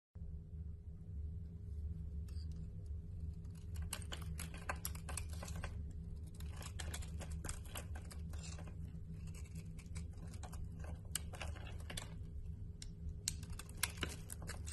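A utility knife blade shaves and carves flakes off a solid white oval Winex bar soap held in a hand with long painted nails. Dense, crisp scraping and clicking cuts crackle continuously over a steady low hum, with a few sharper snaps toward the end.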